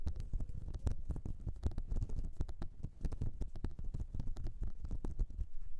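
Long nails scratch the ridges and nubs of a flat, light blue, whale-shaped silicone cleansing mat. The result is a continuous run of quick, muffled, low-pitched scratching strokes with almost no high-end sparkle.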